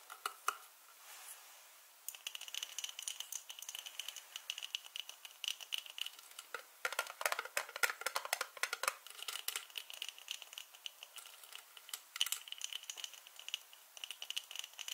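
Two hands with long painted nails handle a small clear glass jar, about half full of dried green herbs or seeds, tapping and twisting its white plastic screw lid. Quiet, bright, rapid clicks, taps and scratchy ticks come in dense bursts, with a light rattle of the contents and no low end.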